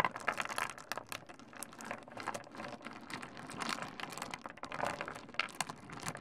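Fingertips of both hands rummage through and stir a gathered heap of small solid pebbles on a wooden desk. Dense, overlapping clicks and clattering ticks run steadily throughout, each contact short and bright with almost no ring, giving a busy rattling texture.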